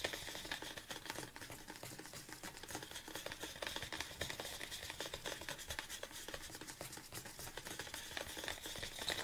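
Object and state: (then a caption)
Plastic supplement tub tapped with nails. Fingernails tap rapidly on the side of a large red plastic BCAA supplement tub standing on a table. The sound is a steady stream of quick, dry, bright clicks with a short hollow plastic ring that carries a faint high tone near 3.9 kHz.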